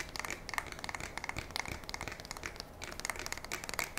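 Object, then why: Polymer and metal pump shotgun. Fingertips and long nails tap and scratch along the stock and fore-end of a black polymer and metal pump shotgun held up by the barrel. The result is a quiet, steady stream of quick, bright clicks and dry crinkly scratches with very little low end and almost no ring after each touch.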